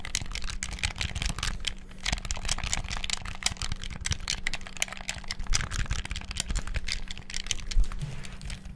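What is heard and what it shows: Fingertips rapidly click the buttons and sticks of a black hollow plastic gamepad, producing a dense, continuous stream of sharp, bright plastic clicks and rattles that stop instantly. A steady low hum runs underneath.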